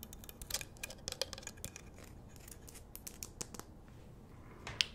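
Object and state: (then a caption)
Rock-salt lamp scratched and tapped. Long nails scratch and tap the rough surface of a large, solid pink Himalayan rock-salt lamp on a wooden base. The result is a rapid run of dry, crisp clicks and gritty scrapes, bright and centred around 3 kHz, each dying away almost instantly. A quieter scratchy stretch follows, ending in one sharp, louder tap near the close.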